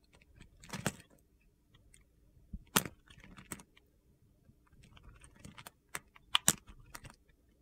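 A metal utility knife blade cuts and scrapes crumbly pieces off the remaining piece of a solid yellow bar of soap held in the hand. Short, crisp, gritty crunches and scrapes come in irregular bursts with a bright, dry texture and almost no ring, separated by quiet pauses.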